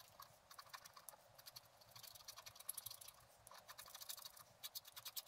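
A wooden stylus scratches short strokes into a flat black-coated scratch art card resting on a table. A quiet run of quick, dry, crisp scrapes comes in bursts, with bright, hissy detail and almost no low end. Each stroke stops abruptly, with no ring afterward.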